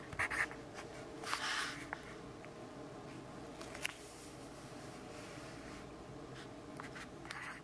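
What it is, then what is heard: Pencil writing on notebook paper. A yellow graphite pencil writes text on an open grid-paper notebook page, giving short, bright scratchy strokes. Quieter stretches of faint steady hiss and low hum separate the strokes.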